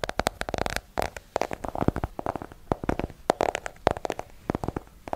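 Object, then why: Small hardcover book. A small, solid hardcover book with a yellow cover is held in both hands and tapped with long nails. Quick bursts of dry, clicky taps come in uneven clusters, each stopping almost instantly, with a hollow tone near 680 Hz.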